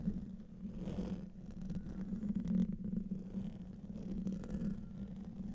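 A large silver USB condenser microphone has its hollow, domed metal mesh grille scratched and tapped by fingertips with short nails. Up close it gives a dense, low, rumbling scrape with a steady hum-like tone and soft, muffled taps woven through, and little high content.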